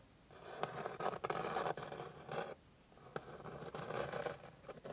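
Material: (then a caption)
Wood. Long pink acrylic nails scratch across a flat, light, fine-grained wooden board with the fingertips pressed down. The result is a series of dry, rasping scrapes in uneven bursts, strongest in the midrange with quiet gaps between strokes.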